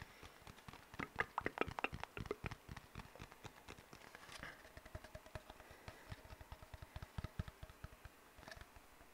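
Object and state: Empty hollow cardboard tube.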